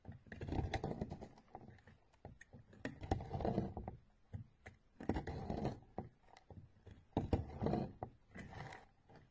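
A hand with blue nails holds a solid orange bar of soap while a steel knife repeatedly shaves and scrapes crisp flakes from it, and the shaved layers pile up. The result is bursts of dry, crackly scraping with quick ticks, full in the low end and fading fast between strokes.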